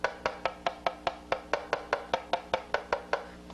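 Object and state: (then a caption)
Symmetrical violin back plate. A wooden violin back is tapped 17 times in a steady series on its left and right sides to find where it likes to be driven, each tap giving a short, dry, woody knock with a pitch near 580 Hz. The tones sound about the same on each side, placing the acoustical center in the middle and showing the back is probably symmetrical, in agreement with the earlier caliper thickness measurement.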